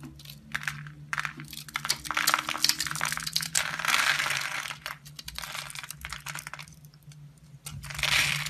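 A utility knife blade cuts and scrapes small cubes off the surface of a solid rectangular brown laundry soap bar, scored into a grid and held in the hand. Crisp, bright scraping and crunching comes in quick, irregular bursts, with short dry cuts between longer rasping strokes. It ends on one more rising scrape.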